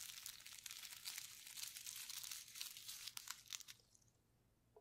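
Gloved fingertips press and rub a flat sheet of clear plastic bubble wrap, its hollow air-filled bubbles wet with paint, lying on a white table. The result is a dense, bright, wet crinkling and crackling, almost entirely high-pitched with little low end, with a few sharper snaps around the three-to-four-second mark. It then thins out into near silence at the end.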